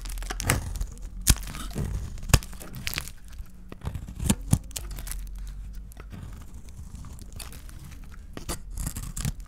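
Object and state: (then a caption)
Dry soap bar being cut. A solid, hand-sized lilac dry soap bar is shaved into chunks with a small metal blade. Sharp scraping and cutting crackles come in bursts, each with a brief crunchy snap over a low, steady rumble. Crumbly pieces break away from the bar.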